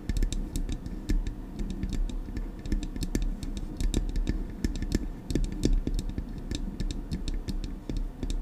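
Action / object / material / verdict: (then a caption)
tap / metal microphone body / metal / none. Long acrylic nails rapidly tap the metal casing of a silver Blue Yeti microphone. The result is a dense, uneven stream of sharp, bright clicks over a heavy low thud, with each tap dying away quickly.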